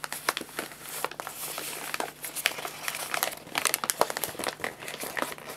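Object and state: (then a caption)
Crinkled empty paper bag. An empty, hollow, printed paper guinea pig food bag is rolled, rubbed and crinkled with fingertips and palms. Dense, bright crinkling with many sharp crackles runs continuously through the whole clip at a fairly quiet level, with almost no low end.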